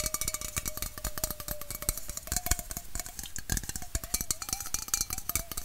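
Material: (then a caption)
Aluminum. Fingernails rapidly tap a hollow red aluminum Coca-Cola bottle-shaped can held in the hand, producing a dense stream of sharp, bright clicks. A faint ringing tone around 600–700 Hz hums beneath the taps and wavers slightly in pitch as the tapping continues.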